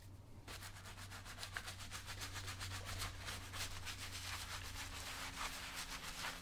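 A brown leather lace-up work boot, worn on the foot and resting on a shoe-shine stand, is covered in white lather and scrubbed repeatedly with a wooden-handled bristle brush. Quick back-and-forth strokes of about three to four per second make a bright, bristly, wet rasp over a steady low hum.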